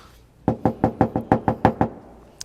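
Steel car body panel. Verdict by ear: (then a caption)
Undamped. Nine evenly spaced knocks on a bare steel Audi SQ5 body panel with no sound deadening, unlike the neighboring panel covered in 3M deadening layer. Each knock gives a hollow, pitched bong around 220 Hz with a short ring, and a faint high click follows at the end. The untreated panel sounds very resonant.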